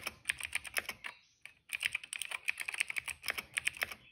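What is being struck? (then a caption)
Plastic mechanical keyboard. Fingertips of both hands type steadily on a retro-style cream plastic mechanical keyboard with dark and purple plastic keycaps and a hollow case, resting on a rug. Quick, crisp, bright clacks patter in a dense stream, stop for about half a second, then resume. Each keystroke is dry and dies out instantly.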